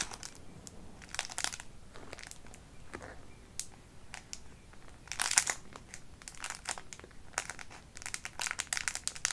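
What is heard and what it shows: A small, clear, foil-like crinkly plastic wrapper holding a light blue item is held in both hands and scrunched and rubbed with the fingertips of ringed fingers. It makes bursts of bright, crisp crinkling and crackling separated by short quieter gaps, with the loudest flurry just past the midpoint and another busy stretch near the end.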